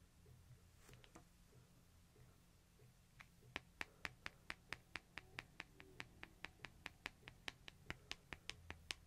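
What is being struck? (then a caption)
Smartphone with glass face and metal frame. Fingernails tap and scratch quickly on the glass face and light metal edge of a small, flat, solid smartphone with a metal frame held in one hand. After a few faint, scattered ticks, a steady run of sharp, bright, dry clicks follows, each dying away almost instantly. A low, steady hum sits underneath throughout.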